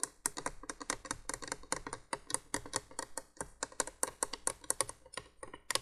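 Long nails tap rapidly on the hollow plastic base of a window candolier, a 1980s window light, producing a quick run of short, dry, clicky taps with bright, crisp attacks. The taps come in an irregular, keyboard-like rhythm with almost no ring after each one.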